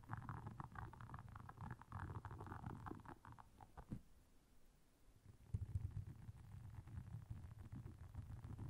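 Long nails scratch across the soft bristles of a round, flat, blue solid silicone scrubber pad lying on black fur. The result is a dense, low, rumbling scratch with rapid soft scraping strokes; it quiets briefly near the middle, then resumes with a sharper onset.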